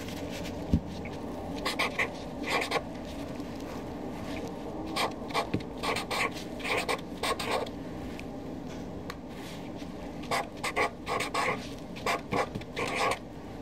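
A Sharpie felt-tip marker held in the hand writes a new column of names on a flat white paper sheet resting on a desk. The felt tip rubs and scratches the paper in short, bright bursts of strokes separated by brief pauses, with a quiet low background underneath.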